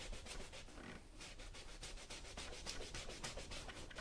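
A yellow cloth held in the fingers rubs back and forth over the toe and vamp of a brown smooth leather moc-toe work boot worn on a foot, while the other hand holds the boot. The result is a quiet, continuous rubbing with soft, bright swishes repeating at roughly three to four strokes per second over a low rumble.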